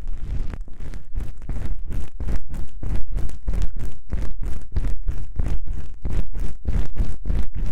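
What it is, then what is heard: Foam microphone windscreen being scratched. Fingertips and long pink acrylic nails on both hands hold and scratch two small, soft, porous black foam windscreens covering a stereo microphone's capsules. The result is a steady run of muffled, rumbling scratch strokes at a loosely even rhythm, each a brief burst of deep boomy noise with soft brushy hiss on top.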